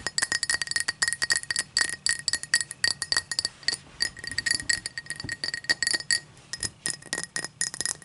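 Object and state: Tall drinking glass.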